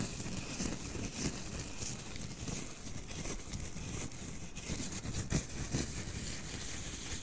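Fingertips and nails rub the white fuzzy fabric of a small, soft plush snowman toy held near the microphone. The result is a steady, soft scratchy rustle with a low rumble underneath and a bright, hissy top. A few slightly louder brushes stand out along the way.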